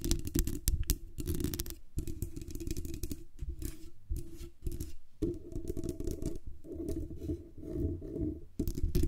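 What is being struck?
Condenser microphone with metal mesh grille.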